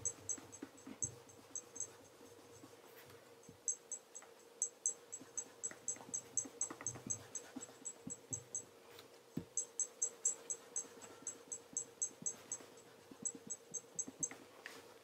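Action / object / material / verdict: scrape / leather tassel loafer rubbed with a cloth / leather / none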